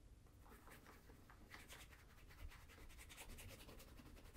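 A brown leather Crockett and Jones Coniston ankle boot, fitted with a shoe tree and resting on a table, is rubbed and massaged with bare fingertips and palm during a shoe shine. Quiet, dry scratchy rubbing strokes repeat in an uneven rhythm, each a soft brushing swish with a bright hiss over a low, dull rumble.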